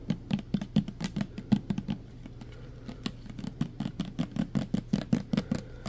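Fingernails quickly tap and scratch the side and label of a full clear plastic pump bottle of green hand sanitizer gel. Rapid, uneven, dull plastic taps with a low, woody thump around 200 Hz die away almost instantly. A softer, scratchier stretch in the middle gives way to another quick burst of tapping.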